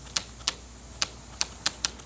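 A loose rubber trim strip on the roof of a Chevrolet Meriva taps against the roof, making six sharp, bright, high-pitched ticks spaced irregularly over about two seconds. A tape test silenced the noise, confirming the loose strip as the cause, which is a fault.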